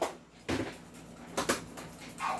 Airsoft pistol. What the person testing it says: Wala kasi naka-fix outer barrel, naka-fine tune, naka-trigger job, naka-hammer protection pad.